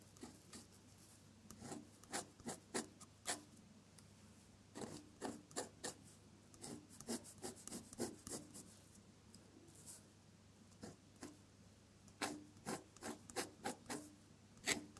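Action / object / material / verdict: scrape / paper sheet scratched by a metal pen nib / paper / none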